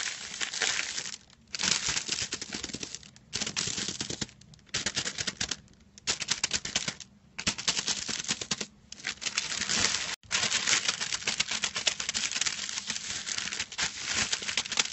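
Fingertips and short nails scratch and crinkle a large crinkled silver metallic foil sheet lying flat on a white cloth. Dense, bright crackling and rustling come in bursts separated by brief quiet pauses, with almost no low end. The last stretch runs nearly continuously.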